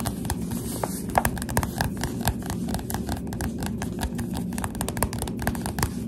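Finger pads on both hands, with long dark nails, tap rapidly on the glossy cover of a solid Goosebumps SlappyWorld paperback held upright. The result is a steady run of soft, dull, short taps over a low rumbling background.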